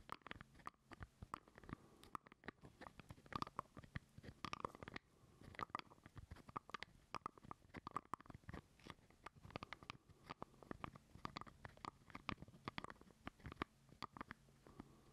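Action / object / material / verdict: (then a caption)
tap / plastic screw-top jar lid / plastic / none. A small, hollow purple plastic screw lid, taken off its jar and held in both hands close to the mic, is scratched and tapped by fingernails across its surface and ribbed rim. The result is a quiet, steady stream of dry, clicky taps and brushing scratches with a hollow plastic tone around 1.2 kHz, and each tap dies away almost instantly.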